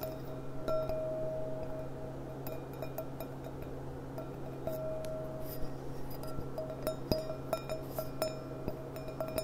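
A clear, empty stemmed glass goblet with a gold rim is turned in the hands while long nails tap its bowl. This produces light, ringing, chime-like clinks with a sustained tone around 630 Hz over a steady low hum. Some taps ring out briefly while others are short and muted.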